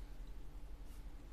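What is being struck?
Nothing is struck.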